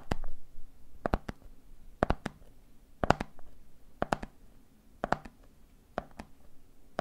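Fingertips tap rhythmically on the red plastic lid of a medium clear plastic jar full of peanuts, making short, dry clicks in repeating groups of three about once per second. Each tap is crisp with a hollow mid-range knock and almost no ring, leaving brief quiet gaps between groups.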